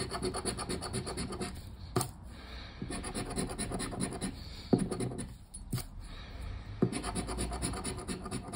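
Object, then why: Cardboard scratch-off ticket. A thin cardboard paper lottery scratch-off ticket lies flat on a wooden table while a hand scrapes its coating with the edge of a black plastic disc. The scraping is a steady, gritty rasp in bursts, broken by a few brief pauses and sharp ticks.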